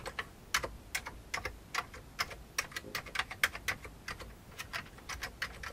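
Fingertips of both hands type on a full-size vintage beige plastic computer keyboard with hollow keycaps. It makes a quick, uneven run of sharp, bright, hollow clicks that die away almost at once. Light rustle fills the gaps between keystrokes.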